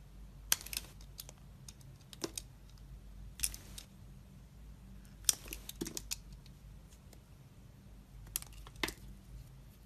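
A utility knife blade slices across the surface of a solid, translucent red glycerin soap bar held in a hand with red nails. Short, crisp, bright scraping cuts and clicks come at irregular intervals over a faint, steady low hum.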